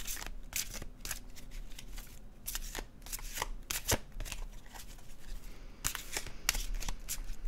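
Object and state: Glossy card deck being shuffled.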